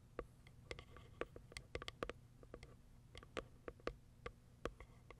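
Long acrylic nails tap on the top and the plastic window of a small white Kiara Sky cardboard box. About twenty quick, dry clicks come in an uneven rhythm, each short and bright with a hollow midrange knock and almost no ring, over a quiet low hum.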